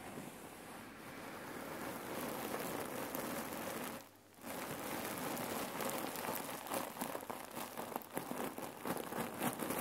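Hands squeeze a red cotton neck pillow filled with cherry pits while long nails scratch its surface. The result is a dense, rain-like rustle of shifting pits with crinkly crackles. The sound dips briefly about four seconds in, then resumes with grittier, more distinct clicks toward the end.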